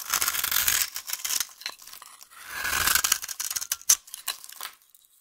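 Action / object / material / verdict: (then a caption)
scrape / bar of soap / soap / none. A solid, dry, yellow vintage soap bar is held in the hand and scraped and carved with a utility knife blade, and the shavings fall onto the table. Two long, bright, rasping scrapes are heard, each breaking into a run of short, crisp clicks and crinkles, with almost no low end.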